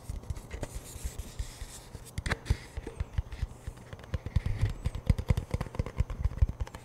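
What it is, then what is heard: Cardboard chip can handled. A hollow cardboard Pringles chip tube is tilted in the hands while fingertips and nails scratch and tap its label and lid end. Quick dry scratches mix with short, hollow, low thumps, and the tapping grows busier and louder in the second half.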